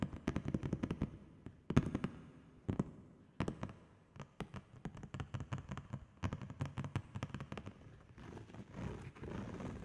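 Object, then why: Plastic padded mailer bag. Long fingernails tap rapidly on a large, flat holographic plastic padded bubble mailer bag held up in the air. The taps come in quick bursts of short, dull clicks with a low, hollow thump and almost no ring. In the final stretch, they give way to a softer, continuous crinkly rustle of the plastic.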